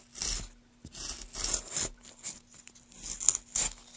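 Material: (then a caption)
Wood. Gloved hands carve a solid pale wooden block with a small gouge, lifting long shavings from the surface. A series of short, bright, hissing scrape strokes rises and falls with brief quiet gaps, over a faint steady low hum.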